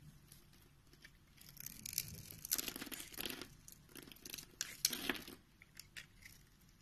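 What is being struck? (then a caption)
Bar of soap. A box-cutter blade cuts and scrapes through the scored grid of a palm-sized solid pink soap bar held in hand, so small pink cubes crumble off. Dry, crisp scraping and crumbling crackles come in bursts that grow denser mid-clip, bright and hissy with little low end.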